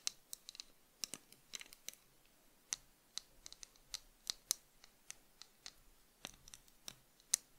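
Long fingernails tap and scratch along the frame, arms and brown lenses of tortoiseshell plastic cat-eye sunglasses held in both hands. About two dozen quiet, sharp, bright clicks and scratches come in irregular bursts, each dying away almost instantly with almost no low end.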